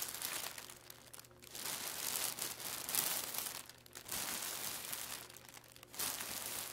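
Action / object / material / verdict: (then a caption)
scrape / plastic film packaging bag / plastic film / none. Flat hands and fingertips press and rub a flat, layered clear plastic packaging bag with a barcode label lying on a wooden table. Dense, bright crinkling of the plastic film comes in swelling bursts, with little low end, and fades into quieter rustles between the louder passes.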